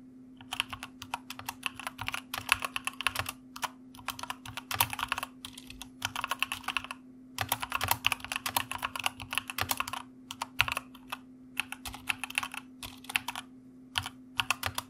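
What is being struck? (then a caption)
Mechanical computer keyboard with plastic keycaps. Fingertips of both hands type continuously on a white mechanical computer keyboard with plastic keycaps. Bright, clicky keystrokes come in rapid bursts with short pauses between them. A faint steady low hum runs underneath.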